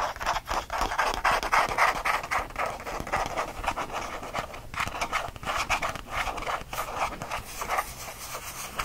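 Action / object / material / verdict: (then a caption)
scrape / small faux leather change purse / faux leather / none. A small, flat, purple faux leather change purse, a squeeze pouch with stitched seams, is held in one hand over a fleece blanket and scratched quickly with the fingertips of the other hand. The result is a fast, dense, somewhat irregular stream of dry scratching strokes, strongest in the midrange with a bright, hissy edge, and little low-end weight.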